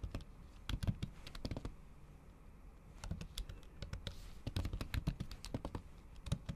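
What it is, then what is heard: Laptop keyboard with plastic cover. A MacBook keyboard under a thin pink patterned plastic/silicone cover, with solid keys beneath, is typed on with the tips of long acrylic nails in fast, repeated taps. Short, dull, low-heavy clicks come in quick bursts, pause briefly in the middle, then resume with each tap dying away almost instantly.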